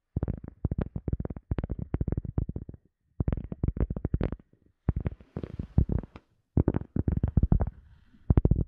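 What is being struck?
Cork coaster.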